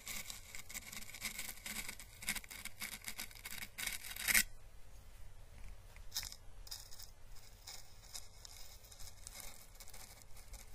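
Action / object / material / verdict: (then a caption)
scrape / dried papery plant husk / dried plant / none. A hollow, papery dried orange Chinese lantern husk (the plant's calyx), held in the hand, is brushed across its surface with paintbrush bristles, giving a bright, dry crackling and scratching. The crackling is dense and busy for the first four seconds, peaking in a sharp rustle, then turns to softer, sparser brushing over a low steady hum.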